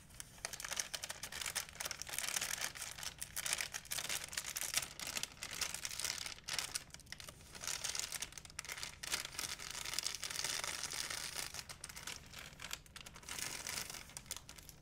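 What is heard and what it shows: A large, empty white plastic shopping bag is crinkled and stretched by fingertips. It gives a continuous stream of dense, bright, crackling crinkles that swell and ease in waves, with very little low end.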